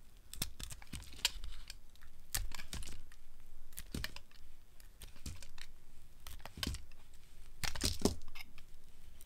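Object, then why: Soap bar shaved by a metal blade. A solid, dry green soap bar held in the hand is shaved with a metal blade into long curls and flakes. Quick, crisp scraping cuts come one after another, each a short bright rasp with a soft low thud underneath. They fade almost at once, with brief quiet gaps between strokes.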